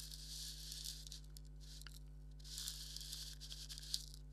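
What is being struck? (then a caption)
Leather maraca. A thumbnail scratches across a hollow black leather maraca, making a dry, bright rasping scrape that swells in two long bursts with a sharp tick near the end. A steady low hum runs underneath throughout.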